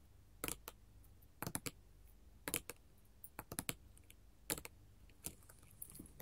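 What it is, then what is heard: Glass mosaic tile sheet tapped with metal nail tips. Long gold metal filigree finger claws tap and scratch a flat sheet of colored glass mosaic tiles. Sharp, bright clicks come in irregular clusters and single taps, each dying away almost at once, over a quiet background.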